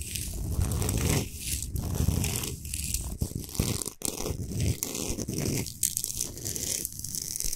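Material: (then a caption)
Rock salt. Long nails scratch fast across the top of a large, flat, solid Himalayan salt slab. The result is a steady, gritty, crackling scrape with a low rumbling body and a bright, hissy edge. The scraping comes in quick bursts separated by brief pauses.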